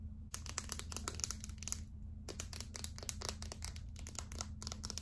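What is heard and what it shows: Long acrylic nails tap and scratch a small, hollow, light-blue plastic Secret deodorant stick held up close. Rapid bright clicks and crinkly scratching come in dense bursts, with a short lull near the two-second mark, over a steady low hum.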